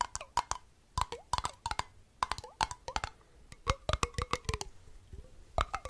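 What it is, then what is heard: Empty glass jar with metal lid. A small, empty, hollow glass jar with a copper-colored metal screw lid is held in the hands and tapped with fingertips and nails close to the mic. It produces a quick, irregular run of sharp, hollow clicks and taps with brief tonal pings around 1 kHz and bright edges. Each tap dies away almost instantly.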